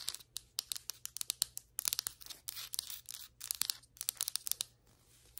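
Long white acrylic nails, used with both hands, tap and scratch on flat solid ceramic floor tiles. The result is a rapid series of sharp, bright clicks that stop almost instantly, mixed with short hissy scratching bursts. The sound is almost entirely high-pitched, with no low end.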